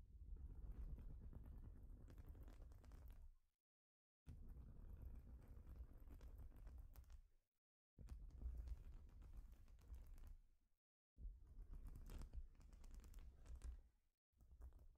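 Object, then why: Plastic studded baseplate. Long nails tap and scratch across a large, flat, plastic Lego-style studded baseplate in several continuous bursts separated by brief silences. The sound is a quiet, muffled, dense patter dominated by low rumble, with faint brighter clicks on top.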